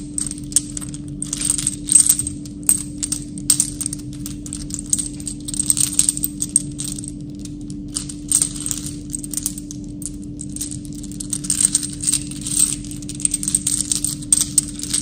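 A small handful of loose brass and silver-tipped metal rifle cartridges, solid, is held in one palm close to the camera while the fingers rub and shake them. They clink together in quick, bright metallic ticks and jingles that come in bursts throughout, over a steady low hum.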